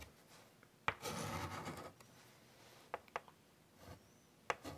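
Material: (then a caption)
Chalk. White chalk draws detail lines on a large wood-framed chalkboard, scratching across the board surface. A sharp tap is followed by a long, bright scraping stroke, then quieter short ticks and taps with pauses between them.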